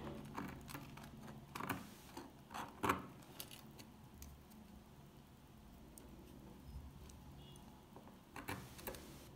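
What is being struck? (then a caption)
Soap bar. A very old, solid, dry, dark green soap bar is held in the fingers while flakes are scraped and picked off it with a metal pick. The result is a quiet run of small, dry, crisp ticks and crunchy scrapes, loudest around the two- to three-second mark and again near the end, over a low, steady background hiss.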